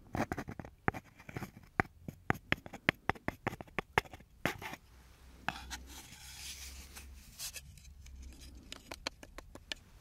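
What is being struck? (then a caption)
Small wooden block. A small, hand-sized, solid light-coloured wooden block with engraved lettering, the back of a brush, is held in one hand and tapped and scratched with fingertips and nails. Quick, sharp, dry taps click out irregularly for the first half. A softer, continuous bright scratching then takes over before a few more taps return at the end.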